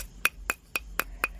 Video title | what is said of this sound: Market to Meal - We Grill Some Giant Trevally and Cuttlefish Steaks | you bang it together like two of these uh sticks of charcoal and it sounds like glass